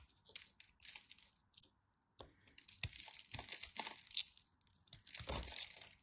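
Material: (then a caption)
Soap. A crumbly, dry, solid chunk of cream soap is held in the hands while a craft knife carves and crushes it into powder. Bright, gritty scraping and crackling come in bursts, with many short crumbling clicks and a few sharper snaps.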